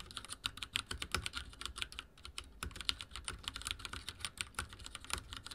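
Fingertips of both hands type rapidly on a full-size backlit mechanical keyboard with dark plastic keycaps and linear switches, resting on a wooden desk. Quick, bright clacks with a soft low thump land in a dense, steady stream, each one dying away almost instantly, with only a brief lull near the two-second mark.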